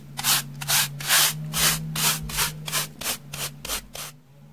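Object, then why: Floral foam block brushed with soft bristles. A soft pink plastic brush sweeps across a solid, porous rectangular slab of beige dry floral foam held in the hand. Eleven dry, bright brushing strokes at a steady pace, each a hissy scratch, over a faint steady low hum.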